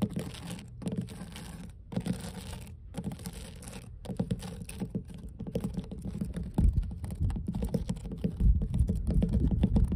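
Long blue nail tips scratch and tap on large, solid, mossy weathered wooden dock boards, making a steady patter of soft, dull, low-pitched clicks and scrapes. The taps come quickly and unevenly, with brief pauses between bursts, and grow louder and denser toward the end.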